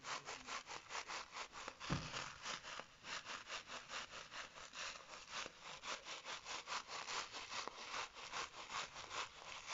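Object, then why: Fabric-covered bead-filled hacky sack. Fingertips and short nails scratch and squeeze a small, soft, baseball-style hacky sack with a stitched white fabric cover and a printed face, filled with beads. A steady run of quick, dry, rasping strokes repeats throughout, bright and hissy with little low end. One duller, thumping squeeze comes near the two-second mark.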